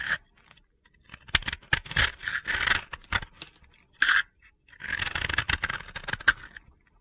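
A utility knife blade scrapes and crumbles the surface of a dry, powdery, hand-sized disc of solid pink and blue soap held in the hands. Bursts of dry, gritty scraping with sharp crackly ticks come and go across the clip, separated by brief quiet pauses.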